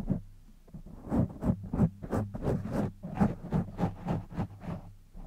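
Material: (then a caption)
Foam. Fingertips and short nails of both hands scratch and rub a black foam microphone windscreen. This produces a fast, uneven series of soft, muffled scratching bursts, about three per second, heavy in the low end over a steady low hum.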